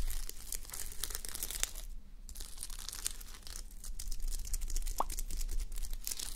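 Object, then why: Fabric sleep mask covered in plastic sequins. Fingertips and long nails scratch and brush a fabric sleep mask covered in plastic reversible sequins, resting on a white mannequin head. The result is a dense, bright crinkling and tearing rustle of quick scratchy strokes, with a brief quieter pause around two seconds, over a steady low rumble.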